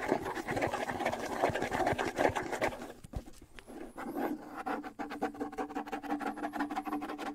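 Fingernails rapidly scratch the skin head of a small, hollow wood-and-skin bongo drum held up close to the mic. The result is a dense, uneven patter of dry, short scratches and taps with a hollow midrange tone, easing briefly around the middle before picking back up.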